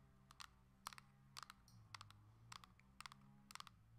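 Long nails tap in fast bursts on the plastic back and sides of a coral Nintendo Switch Lite handheld game console held in the hand. The result is short, bright clicks in quick clusters of two or three, each dying away almost at once over a steady, quiet low hum.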